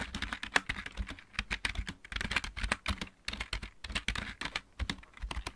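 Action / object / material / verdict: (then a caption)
tap / plastic mechanical keyboard / plastic / none. Both hands type with their fingertips on a full-size backlit plastic mechanical keyboard, producing a quick, uneven run of short, dry clicks and clacks. Each keystroke has a bright top and a low thump underneath, dies away almost instantly, and comes in bursts separated by brief pauses.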